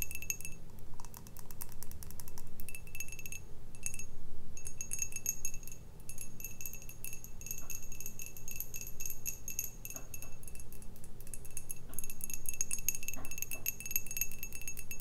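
An empty, hollow, clear glass pint tumbler with an orange printed logo, held in both hands, is tapped rapidly with long red painted nails. The result is a steady stream of light, bright clinks and high glassy pings that die away almost at once, over a constant low hum.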